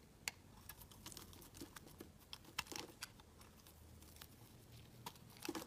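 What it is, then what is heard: Bar soap being carved. A metal blade carves and scrapes the edges and sides of a solid white bar of soap with green streaks, held in the hand, shaving off dry flakes. Quiet, crisp, bright scratching and crackling clicks sound in quick, irregular bursts, each dying away almost instantly, with a few sharper louder cuts standing out.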